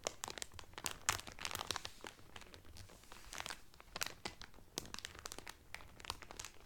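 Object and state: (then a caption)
Cellophane wrapper crinkled over a folded towel. Both hands press and crinkle the clear cellophane wrapper around a flat-folded blue Carnival cotton towel, using fingertips and nails. The result is dense, bright crackling with sharp, quick snaps that come in uneven bursts and fade almost instantly, over a quiet background.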